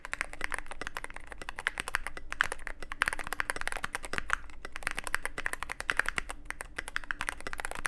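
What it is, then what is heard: Mechanical keyboard, plastic keycaps on metal case. A Cyberboard mechanical keyboard with plastic keycaps and a black aluminum case is typed on with the fingertips in a steady, fast stream. Sharp, dry clicks and clacks center around 1.6 kHz with bright tops and a faint low hum underneath, each keystroke stopping almost instantly.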